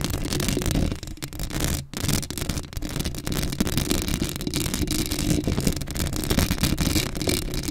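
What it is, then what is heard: Metal mesh microphone grille. Long acrylic nail tips scratch across a black metal mesh microphone head, making a dense, continuous rasping scrape with a heavy low rumble and gritty bright texture. The scratching runs almost without pause, dipping briefly near the first and second seconds before resuming steadily.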